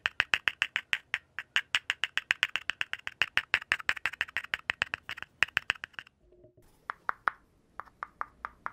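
Fingertips and nails tap and scratch at the bare cardboard rim and opening of a hollow, empty red cardboard poster tube held in one hand. About six seconds of quick, dry, hollow clicks ring near 1.8 kHz with bright edges, then a brief soft scrape and a short pause before sparser taps resume. In all, about fifty short, sharp hits, each dying away almost instantly.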